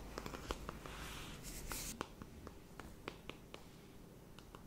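Long manicured nails tap and scratch a closed, hand-sized, flat rectangular cardboard eyeshadow palette with a pink marble print. There are 14 quiet, crisp, dry taps at an irregular pace, with a brighter rustling scratch partway through. A low, steady background rumble sits underneath.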